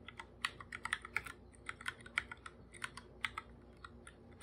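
Bare fingertips type on a full-size black computer keyboard with plastic keycaps, a hollow device. About two dozen short, dry, bright clicks come in an uneven, steady run, each dying away almost instantly with little low end.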